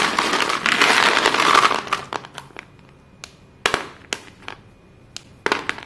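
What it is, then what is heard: White chalk sticks being crushed. Dusty hands grab and squeeze handfuls from a heap of small, solid white chalk sticks, crushing and rubbing the chalk together. A dense, bright, gritty crunching fills the first two seconds, then thins out into scattered sharp snaps and crackles separated by quiet pauses.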